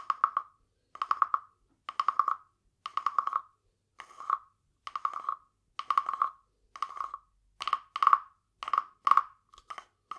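A small, hollow, carved wooden frog guiro, painted glossy green with a ridged back, is held in one hand and rubbed and tapped along its ridges with a green wooden stick. It gives a series of short, dry, woody rasping croaks, each a quick train of clicks around a hollow mid-pitched tone with bright edges. The strokes are separated by brief silences and die away almost instantly.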